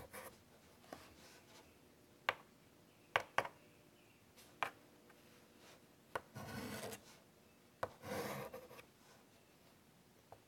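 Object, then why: Chalk on a wood-framed chalkboard. White chalk is drawn across a large wood-framed chalkboard resting on a table in short, scratchy strokes. Eight sharp, clicky taps stand out against a faint hiss, with two longer rasping scrapes near the end that center around 1.1 kHz and carry bright, gritty edges.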